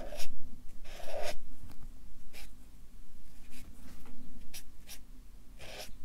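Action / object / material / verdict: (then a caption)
scrape / felt-tip marker on paper sheets on a clipboard / paper / none. A Sharpie marker draws and fills in fish stripes on a stack of white paper on a clipboard, its felt tip rubbing the sheets. Short, scratchy strokes come in uneven bursts, each a bright, airy hiss over a steady low hum. The rubbing stays soft and close, with no ring after each stroke.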